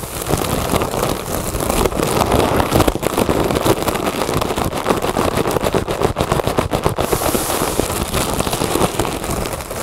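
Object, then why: Inflated mylar foil balloon. A large, inflated, hollow mylar foil "Happy Birthday" balloon is scratched and tapped across its surface with the long nails of both hands. The result is a steady, dense stream of fast, crinkly taps and scratches with a crackling texture, carrying most of its energy in the low and middle range. The sound continues without pause for the whole clip.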